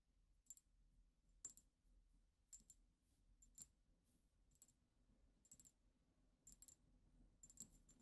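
Long acrylic nails of both hands tap the sides of a tall cylindrical dark-tinted glass perfume bottle with a black cap, holding liquid. The result is a quiet, irregular series of sharp, bright clicks that die away almost instantly, over a soft low rumble.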